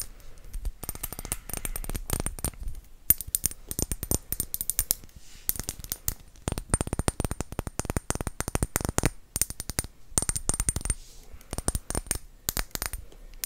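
Fingertips tap on glass potion bottles in quick, irregular bursts of sharp, short clicks. Each tap dies away almost instantly, with a faint high glassy ring, and brief pauses separate the flurries.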